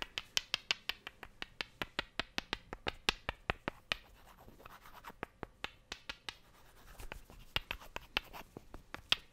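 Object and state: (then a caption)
Wooden blocks clicked together. Two solid, light wooden cubes are clicked together by hand in a quick, uneven series of sharp, bright clicks that stop almost instantly. Softer scraping and rubbing fill the gaps, most clearly in the middle of the clip.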